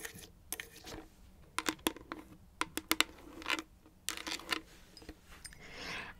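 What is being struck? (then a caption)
Thin plastic water bottle. An empty-looking, hollow 1-liter clear plastic water bottle with a blue label and dark cap is held in both hands and turned while medium-length fingernails tap and scratch it. The result is a series of sharp, bright, dry clicks with quick decay, mixed with thin scratching. A longer, airy scrape rises near the end.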